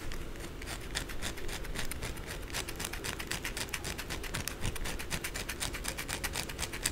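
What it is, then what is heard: Bar of soap being scratched. Long blue acrylic nails scratch fast along the narrow side of a white solid bar of soap held on its edge, piling shavings below. A quick, uneven stream of dry, bright scratching strokes comes about four per second, over a soft low rumble.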